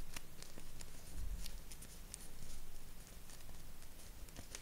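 A small, thin square of purple paper is held in both hands and crinkled and rolled up with the fingertips. Soft, irregular crinkling with brief bright ticks sits over a steady low rumble.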